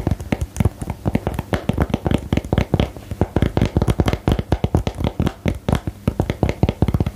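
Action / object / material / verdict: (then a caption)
tap / printed cardboard game box / cardboard / none. Fingernails tap and scratch on a small printed 'Geheimakte' cardboard game box held close to the mic. A fast, steady run of dull, low, muffled taps continues throughout, each one dying away almost instantly, with very little brightness.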